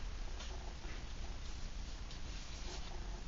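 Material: Nothing is struck.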